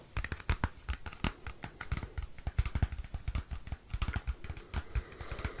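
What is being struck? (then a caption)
Cardboard CD sleeve. Fingernails tap and scratch a small, flat, square cardboard CD album sleeve. A quick, irregular run of short, dry taps, each with a soft low thump and a faint papery scratch, patters on like light typing. The sound is close and quiet.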